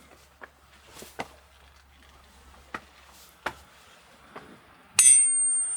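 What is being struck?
Boulder struck with a hammer.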